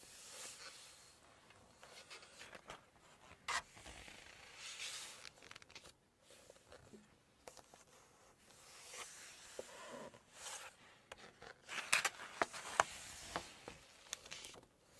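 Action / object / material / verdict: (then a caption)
scrape / glossy paper cookbook pages / glossy paper / none. Long nails scratch across the glossy pages of an open Chinese cookbook and turn them over. Quiet, bright rustling and scraping are broken by sharp crinkly page flips, with the loudest snaps near the end.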